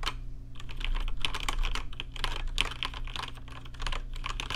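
Fingertips type quickly on a rainbow-lit plastic RGB mechanical keyboard with plastic keycaps. A dense, steady run of short, bright clicks and clacks carries over a constant low hum.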